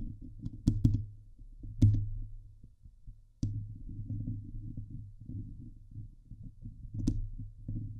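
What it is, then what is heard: Metal mesh microphone grille being scratched. Long nails scratch the sides of a Blue Yeti microphone's hollow steel mesh dome grille. The result is a close, muffled, low rumbling scrape with a droning hum, broken by a few sharp bright clicks and taps.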